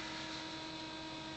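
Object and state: Nothing is struck.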